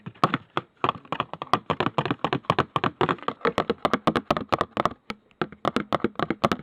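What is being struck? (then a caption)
Perfume bottle. A cheap Poundland perfume bottle, one that is disliked, is tapped rapidly for ASMR, producing a steady run of short, dry, clicky taps. The taps have almost no ring and vary slightly in loudness.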